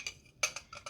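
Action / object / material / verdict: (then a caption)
tap / glass tea insert / glass / none. A glass insert for a tea set is taken out and handled, giving five short, bright glassy clinks. Each clink is a light tick that fades almost at once, with a ringing tone near 2.5 kHz and almost no low end.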